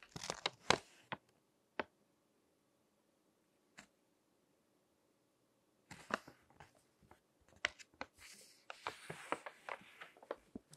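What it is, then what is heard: Glossy paper magazine pages. Fingertips flip and crinkle the pages of a crinkled glossy paper magazine resting on a table. Bright, papery crackles come in a short burst at the start, then only a few isolated snaps through a quiet stretch. From about six seconds the crinkling returns in a dense, rustling run of sharp crackles to the end.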